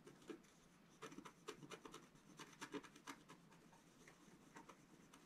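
A wooden stylus held in the fingers scratches lines into a flat black-coated scratch-art card on a table while the other hand steadies the sheet. A series of short, dry rasping strokes sounds over a quiet background, each a brief bright scratch with a papery body around 400 Hz. The strokes die away almost instantly.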